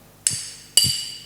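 A hammer strikes a piece of iron twice, giving two sharp, bright metallic clinks with a high ringing tone that fades quickly. The iron is unharmed by the blows.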